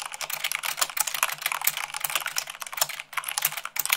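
Fingertips with long nails type fast on a full-size mechanical keyboard with white plastic keycaps on a black frame. The result is a dense, continuous stream of short, bright clicks and clacks with almost no low end. Each keystroke dies away almost instantly.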